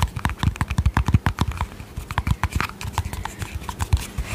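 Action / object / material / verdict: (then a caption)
tap / small plastic cosmetic tub with lid / plastic / none. Long painted fingernails tap rapidly on a small, round, hollow white plastic cosmetic tub with a yellow lid, producing about 25 quick taps over four seconds. The taps are dull, hollow and low, with a short clicky edge and almost no ring between them.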